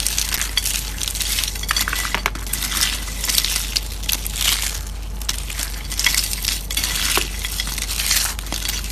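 Fingertips crush and crumble thin, hollow-rolled, brittle tan dried soap curls in a white plate into fine flakes. Dense, bright, crisp crackling and crunching comes in overlapping bursts over a faint steady low hum.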